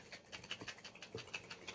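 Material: Cream.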